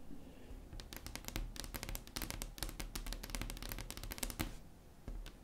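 Long acrylic nails tap rapidly and scratch across a large, solid, flat wood-grain tabletop. A dense run of sharp, bright clicks dies away almost instantly, with soft scratching between taps over a low, steady rumble.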